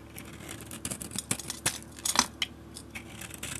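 A utility blade scrapes the blue, galaxy-painted surface off a solid rectangular bar of soap and carves into the pale soap beneath. The result is a run of short, dry, bright scraping and crackling strokes, some louder than others, over a faint steady hum, with no ringing after each stroke.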